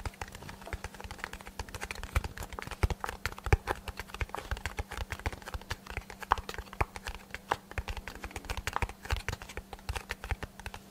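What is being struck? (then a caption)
Small cardboard box. A small, hollow brown kraft cardboard box is held in both hands close to the microphone and tapped rapidly with fingertips and short nails. The taps make a dense stream of short, dull, hollow thumps with light clicky edges that die away almost instantly, over a faint steady low hum.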